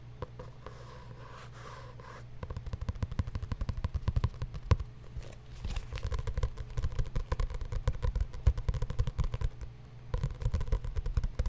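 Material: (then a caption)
Paper. A paper journal is tapped with rapid, dull, low thuds after a quiet opening of about two seconds. The taps come in dense bursts with brief lulls, then pick up again toward the end.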